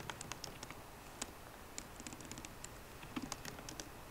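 Both hands type rapidly with their fingertips and short painted nails on the low-profile black plastic keyboard of a 13-inch MacBook Pro with a grey aluminium body, resting on a wooden desk. About eighteen quiet, crisp key taps come out, each a short bright click that dies almost instantly, over a soft low background.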